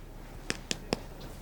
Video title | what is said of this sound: Pressure Check Adventure - Maddie's Do You Know - Educational Videos | it sounds like knocking on a door